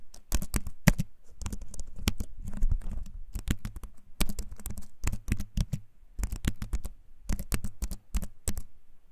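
A compact keyboard with a wooden frame and plastic keys is held up near the mic and typed on with fingertips. Its clicky keycaps give rapid bursts of short, dry taps with a low thumpy body and bright click edges, broken by brief pauses between runs.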